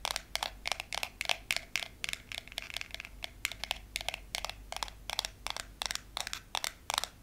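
Fingernails tap and scratch across the surface of a long, solid, frosted glass nail file. Quick, sharp, bright clicks come in rapid bursts and clusters, each dying away almost instantly, with a faint low hum underneath.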